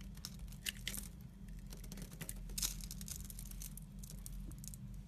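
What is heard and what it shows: A red-handled metal knife cuts and scrapes a solid blue-and-white striped soap block, sending chips falling off. Crisp, bright scraping and crackling bursts come in quick, uneven strokes over a steady low hum.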